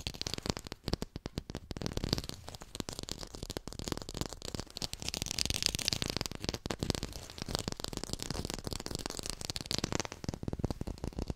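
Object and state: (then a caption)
Fake textured lime. A textured artificial plastic lime is fast-tapped, close to a hi-fi mic. The result is a dense, continuous stream of short, dry, crackly clicks and scratches with a bright edge and some low thumping body, and almost no ring after each tap.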